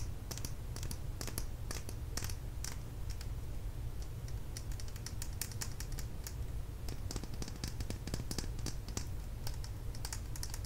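A small plastic lip gloss tube, held upright, is tapped rapidly with long nails along its length. The result is quick, bright, dry clicks scattered irregularly over a steady low hum.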